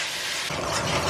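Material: Nothing is struck.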